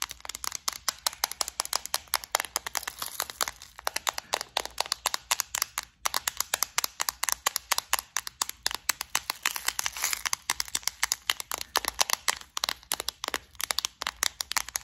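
Long nails rapidly tap and scratch the lid and sides of a clear plastic flower-shaped bead organizer, a hollow case full of gold beads and studs. The result is a dense stream of bright, dry, clicky taps with almost no ring or low end, briefly pausing around six seconds.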